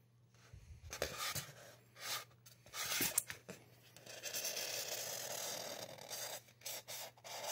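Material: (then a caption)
Polystyrene foam. A marker tip is drawn in strokes across a solid white expanded polystyrene mannequin head, giving a dry, bright scratching and rubbing sound. Short bursts of scratchy noise alternate with longer, steady rubs, and a faint low hum sits underneath.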